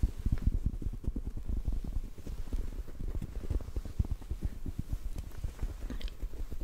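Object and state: Foam microphone windscreen tapped.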